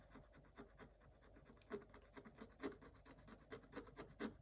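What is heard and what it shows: A thin wooden stylus scratches short strokes across the black coated scratch-art page of a spiral-bound book lying flat on a table. The result is a quiet, dry, raspy scratching in an irregular series of brief strokes, with a few slightly louder, brighter scrapes standing out.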